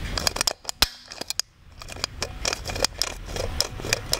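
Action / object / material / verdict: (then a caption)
flick / hard plastic doll head with moving eye mechanism / plastic / none. Fingers work the eye mechanism in the hard plastic head of an orange-haired Blythe doll held close to the mic. The result is a rapid series of sharp, bright clicks with very short decay, separated by soft rustling and a brief quiet pause in the middle.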